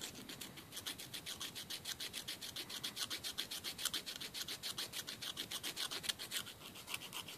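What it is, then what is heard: Emery board nail file. A long, thin, solid emery board nail file is rubbed quickly back and forth across the fingernails of the other hand over a wooden table. It makes a rapid, fairly steady series of short, bright rasping strokes with almost no low end. Each stroke stops dry with no ring.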